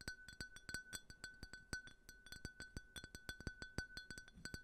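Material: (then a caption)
Glass. A small, empty, clear glass tumbler with a faceted pattern is held close and tapped quickly with fingertips and fingernails, about 28 taps in under five seconds. Each tap is a short, bright clink with a steady ring around 1.5 kHz that dies away almost at once, over a soft low thud from the fingers.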